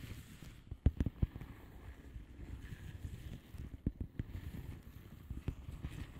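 Long fingernails slowly tap and scratch across a flat blue plastic bubble wrap padded envelope with air-filled bubbles. Scattered dull, low, muffled taps stand out over a soft, continuous scratchy rustle. Each tap dies away almost at once, with no ring.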